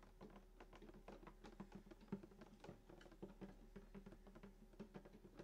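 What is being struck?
Wooden acoustic guitar body.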